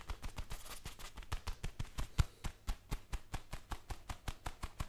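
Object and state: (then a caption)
Leather gloves rubbed together. Black leather gloves are worn on both hands, and the gloved palms are pressed and rubbed together in a steady rhythm. The result is 26 quick, dry leather squeaks and soft thumps, heavy in the low end with faint bright friction and no ring between them.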